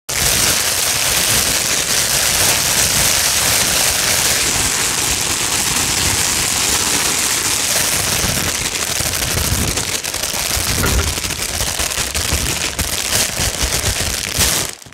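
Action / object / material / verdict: scrape / thin plastic wrap film / plastic / none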